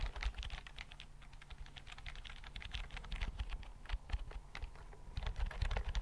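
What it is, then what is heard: Slim plastic keyboard. Fingertips type on a thin white plastic keyboard with flat chiclet keys, held in both hands close to the mic. A steady run of quick, soft key clicks comes through with a low, thumpy body and brief bright ticks. Each tap stops dead with no ring.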